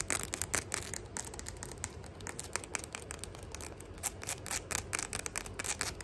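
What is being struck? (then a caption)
Faux leather sandal with metal ornaments. Long fingernails rapidly tap and scratch the round metal embellishments, chain trim and strap of a flat gold faux leather sandal held in hand. The result is a fast stream of bright, sharp clicks mixed with dry scratchy rasping, each tap dying away almost instantly.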